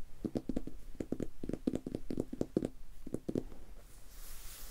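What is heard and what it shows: A medium dark red leather-bound hardcover book, solid and closed, is held up while fingertips tap and rub its cover. A quick run of soft, dull, low-pitched taps dies away almost at once. A faint, bright brushing hiss of rubbing follows at the end.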